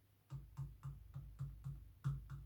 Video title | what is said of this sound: RMS Titanic 510 (billing boats) build/log part 2 | you can hear there's no movement in there now